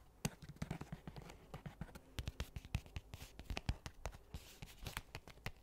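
Fingernails tap and scratch a medium-sized, hollow black hard-shell case with a faux leather cover. A quick, uneven string of short, dry knocks with a low, hollow body mixes with light scratching. Each tap stops almost at once, with no ring.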